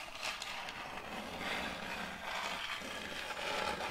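Metal fingertip claws scratch and scrape across the face of a large, solid, round board of checkered end-grain wood held tilted. The result is a steady, continuous, dry scratching texture that is bright and hissy, with very little low end and small swells as the strokes change.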